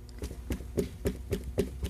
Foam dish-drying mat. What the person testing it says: there is no sound coming out of that okay so you can knock on as hard as you want